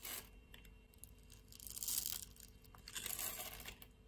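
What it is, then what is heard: Bar of soap scraped and cut with a blade. A metal utility-knife blade scrapes across a solid pink bar of soap held in the hand and cuts off cubes. The scraping comes as dry, crunchy, tearing rasps that are mostly high and bright. It swells in two longer passes between quieter scratches.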